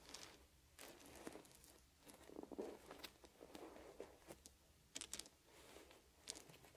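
Fingers pick up small, solid wooden beads and arrange them into piles, making light, bright clicks. Short, sharp taps stand out over a soft, continuous rustle of the beads shifting. The sound stays quiet throughout.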